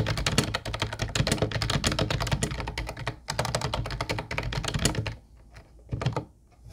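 Fingertips type rapidly on a small, hollow teal plastic wireless keyboard with round white plastic typewriter-style keys, producing a dense stream of quick, clacky taps with a low hollow thud under each press. The typing runs steadily for about five seconds, then falls to a few sparse taps near the end.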